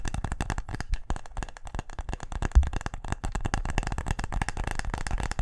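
A wooden tic-tac-toe case is tapped quickly and aggressively, producing a dense, continuous run of short, dry knocks. Each tap is brief with almost no ring, and the sound is heavy in low, thuddy tones with only faint brighter clicks on top.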